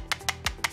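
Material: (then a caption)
Plastic. The all-plastic charging case of Vivan Life 200NC wireless earbuds is knocked on four times. Each knock is a short, bright click that dies away almost at once.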